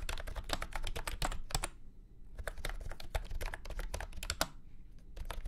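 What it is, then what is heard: Plastic round-key keyboard being typed on. Fingertips type rapidly on a full-size beige and orange plastic keyboard with round keycaps and a hollow body, resting on a felt mat. Quick, sharp clacking keystrokes come in two bursts separated by a short pause, each key ringing only briefly over a steady low rumble.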